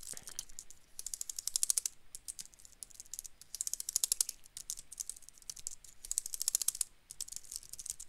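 A slim dark gray plastic wireless keyboard is held upright in one hand while the fingertips of the other hand rapidly press and tap its keys. The result is quick, bright, dry clicks that come in dense bursts with short pauses between them, with almost no ring after each tap.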